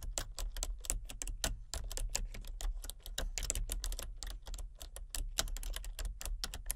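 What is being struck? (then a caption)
Plastic computer keyboard. Fingertips with long nails tap rapidly on a full-size plastic computer keyboard with a hollow body and color-changing backlit keys. The result is a dense run of short, bright clicks over a low, steady hum.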